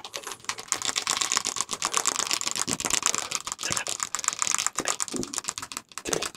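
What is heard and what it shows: A medium-sized dark glass olive oil bottle, hollow with liquid inside, is held close and tapped quickly with the fingertips and nails of the free hand. The result is a fast, dense run of bright, dry clicking taps with almost no low end and very short ring, sounding much like rapid typing.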